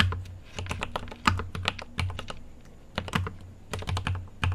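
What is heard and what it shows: Fingertips type on a mechanical keyboard with an aluminium case and plastic keycaps. Irregular bursts of short, sharp keystrokes combine bright clacks with a deep, thumpy low end, and each stroke decays quickly between quieter pauses.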